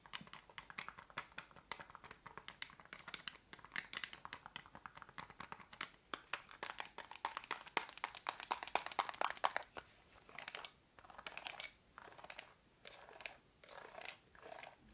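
Long nails tap and scratch a small, hollow black plastic TV remote with rubber buttons. Quick, dry, clicky taps mix with bright crackling scratches in a dense stream that turns into separate short bursts with brief pauses near the end.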